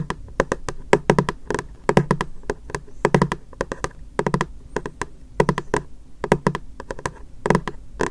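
A medium white, frosted, translucent hollow plastic storage box is held in both hands and tapped rapidly on its face with fingertips and short nails. Quick bursts of dry taps combine a hollow, low thud with bright, clicky nail ticks. Each tap dies away almost instantly, with short pauses between the clusters.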